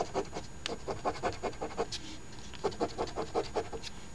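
A flat paper $10 OLG Crossword Deluxe instant scratch ticket (#3354) with a scratch-off coating lies on a table, held by one hand while the edge of a coin, pinched in the other hand's fingertips, scrapes across it. The result is a quick run of short, dry, raspy scratching strokes with bright edges, a brief pause near the middle, then a second run of scrapes.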